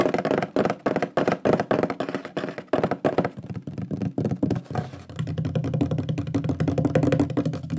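Fingertips and nails tap and knock quickly on the front face of a large, flat, shield-shaped solid wooden plaque with a wood-burned lion drawing, held upright. The result is a fast, irregular run of short, dull, woody knocks with little ring, mostly low to mid in tone. Toward the end the taps run together into a denser, continuous drumming.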